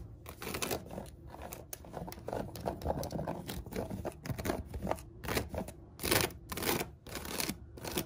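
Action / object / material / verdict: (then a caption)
scrape / woven seagrass and cotton rope basket / seagrass / none. Fingertips and long nails scratch and tap the woven rim of a large hollow storage basket with a braided seagrass top over a white coiled cotton rope base. The result is a steady stream of dry, crinkly scratching broken by brief brighter bursts of rasping, with short, quick-fading taps underneath.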